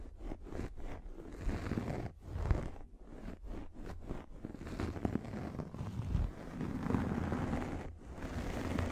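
A pink fluffy microfiber makeup remover pad is held over the microphone and scratched with long nails. The result is a muffled, rumbling scratch with a heavy low end, in uneven bursts separated by brief quiet gaps.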